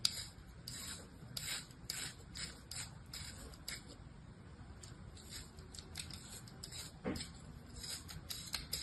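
A small, solid mound of beige kinetic sand resting in a palm is sliced again and again with the blade of an orange plastic knife. Each cut gives a soft, crisp, bright scraping hiss with little ring, repeating in quick irregular strokes over a quiet low rumble.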